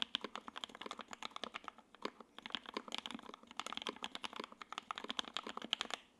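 A 60% J-02 WKL mechanical keyboard with Tangerine switches, a carbon fiber plate, ABS keycaps and an aluminum case is typed on with two hands, then one hand taps single keys and the spacebar with the fingertips. About 40 dry, clicky keystrokes sound in quick succession, each sharp with almost no ring, bright and centered near 3.2 kHz with no low-end rumble.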